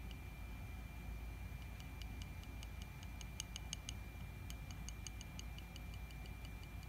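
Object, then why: Glass jar. A fingertip taps the paper-labelled glass side of a mostly empty 1 kg glass honey jar with a metal lid, lying on a rug. The taps are faint, short, bright ticks in an uneven, clock-like rhythm that fade almost instantly. They sit over a steady low rumble and a thin constant tone.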